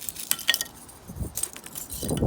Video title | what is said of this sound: Grandads Allotment Making BioChar at Home | Sounds like glass when it's done.